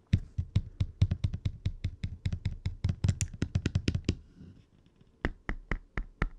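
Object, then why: Plastic handheld game console. Fingertips and nails tap and knock on the D-pad, buttons and screen bezel of a small, hollow, red plastic Game Boy Advance SP handheld console, which is open with its screen off. A quick, steady run of short, dry knocks with a dull low thump and a bright clicky tick lasts about four seconds, then a brief pause, then a few slower, separate taps. Each hit stops almost instantly with no ring.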